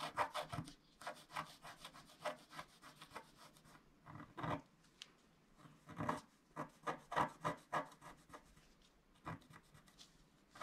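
A wooden stylus scratches back and forth across a flat scratch-art card of black wax-coated paper to fill in an area, while the other hand steadies the sheet. About twenty short, dry, papery scrapes come in uneven bursts with brief pauses, each stroke a bright rasp centred in the midrange that stops almost at once.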